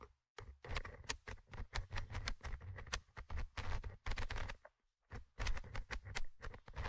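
A thin orange stick scratches the small metal mesh microphone grille of a Tascam handheld recorder. Heard up close, it makes rapid bursts of crackling, rasping scrapes with a heavy low rumble and bright, brittle edges. Brief pauses break up the bursts, with a longer gap near the end before the scratching resumes.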